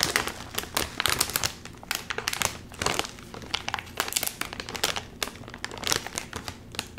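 Fingers crinkle a full Doritos chip bag of metallized plastic film and pull at its seam. The result is a dense, continuous run of sharp, bright crackles and crinkles with quick bursts and almost no low end.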